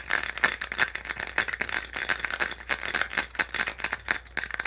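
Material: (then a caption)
Plastic. Fingertips and nails rapidly tap and scratch the ridged ribs of a small, hollow, white molded-plastic insert from a phone or handset box, held in the hands. The result is a dense, fast rattle of short, dry clicks with a bright, hollow clack around 1.8 kHz and plenty of high scratchy hiss, with almost no low end.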